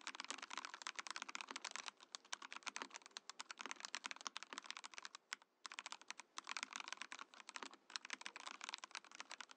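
A compact Mojo68 mechanical keyboard with a translucent clear plastic case and plastic keycaps is typed on with fingertips. It makes a rapid stream of sharp, bright clicks and clacks with almost no low end, and the typing pauses briefly near the middle before resuming.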